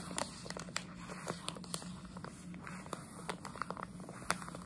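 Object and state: Plastic sweet bag, crinkled and scratched.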